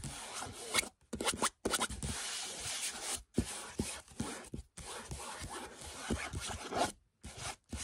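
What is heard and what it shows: Fingernails of both hands scratch across the surface of a large printed canvas picture of a red canyon lying flat on the floor. The result is dry, hissy rasping in bursts, broken by brief silent gaps.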